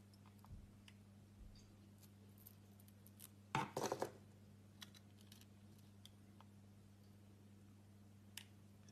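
A solid orange soap block held in the hand is sliced into slabs with a utility knife blade. Against a quiet background with a steady low hum and faint scattered ticks, a short, crisp scraping cut bursts out partway through. A few soft clicks follow before it falls quiet again.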